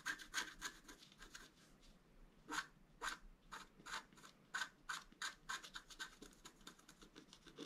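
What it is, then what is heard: Scratch art board being scratched. A wooden stylus scratches fine lines into the upper pattern of a flat, black-coated scratch art card. A rapid, irregular series of short, dry scraping strokes is heard, bright and rasping, with a faint squeaky tone near 1.6 kHz on some strokes. Each stroke dies away almost instantly.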